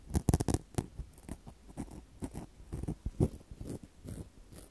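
Long decorated false nails rub and scratch two small black foam microphone windscreens held in the hands near the recorder. The result is a quiet, uneven series of soft, muffled scratching and crinkling bursts with very short decay, heavy in the low end with little high-frequency content.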